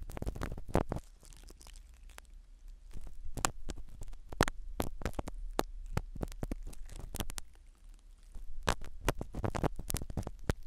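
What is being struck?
Foam microphone cover in a silicone ear.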